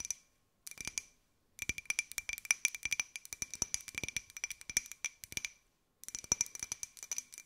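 A small white glossy ceramic jar with a pineapple print, hollow, is held in both hands and tapped with long nails. It gives rapid bursts of bright, clicky taps with a high ringing tone and very short decay, separated by brief pauses.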